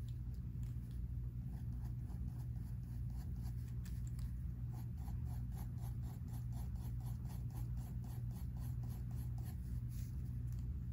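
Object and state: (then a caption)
Pencil scratching on sketchbook paper. A mechanical pencil held in the fingertips scratches drawing lines across a spiral-bound sketchbook paper page. Quick, dry scratching strokes repeat steadily over a constant low hum, with a bright papery hiss on each stroke.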